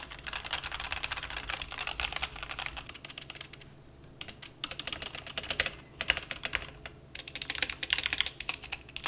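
Fingertips type on a white-cased plastic mechanical keyboard (a Rakk ILIS or RK 71) with black and white plastic keycaps, resting on a felt desk mat. Rapid, bright, clacky keystrokes with very short decay and little low end come in bursts, with brief lulls around the 4- and 7-second marks.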